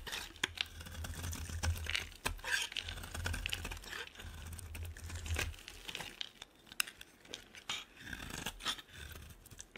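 A solid, dry, oval yellow bar of soap is carved with a metal box-cutter blade. The clip is a run of crisp, crackling scrapes and sharp cutting clicks with bright, dry edges over a soft low rumble, each sound stopping almost instantly.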